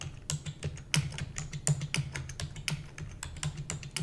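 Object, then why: Plastic computer keyboard. Long nails type rapidly on a black plastic computer keyboard, producing a quick, uneven stream of short, dry clicks with bright, crisp tops. A steady low hum sits underneath the clatter throughout.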